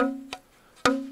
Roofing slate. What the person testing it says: i'm not hearing much ring